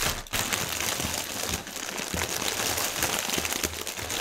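Fingertips and nails press and scratch a clear, printed plastic air-pillow strip of air cushion packaging film resting on a white table. A dense, continuous crinkling and crackling runs throughout, bright and high with little low end and small soft thumps. The crisp rustle stays steady at a moderate level for the whole clip.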